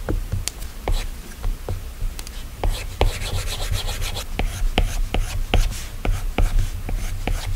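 A plastic Apple Pencil tip taps and scratches across the flat, solid glass screen of an iPad while drawing, and fingertips touch and swipe the glass. Sharp, dry clicks come in a steady series over soft, rubbing scrapes. A low, constant hum sits underneath.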